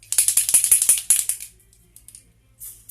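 A makeup spray bottle is shaken before use, its contents mixing inside with about a dozen quick, bright rattles over roughly a second and a half. The shaking then stops, leaving near silence with a few faint ticks before a soft, high hiss near the end.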